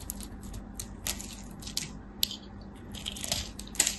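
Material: Soap.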